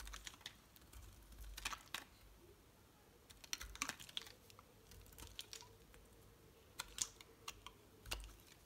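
A metal utility knife blade shaves slices off a solid light green Palmolive soap bar held in the hand. Quiet, crisp, bright crackling snaps and scraping ticks come in irregular clusters over a soft hiss, each one dying away almost instantly.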